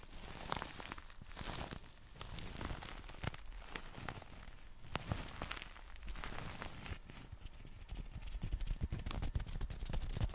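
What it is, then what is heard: Folded nylon umbrella. Fingertips tap quickly and unevenly on the fabric of a folded black nylon umbrella held horizontally over the mic. The result is a steady patter of soft, dull, low-heavy thuds that die away almost instantly, with faint bright fabric rustle between them.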